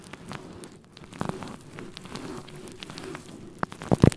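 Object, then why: Faux fur microphone windscreen. Fingertips of both hands rub and scratch a fluffy faux fur microphone windscreen. The result is a soft, low, muffled rustling with crackly scratches and scattered sharp pops, ending in a few louder thumping scratches.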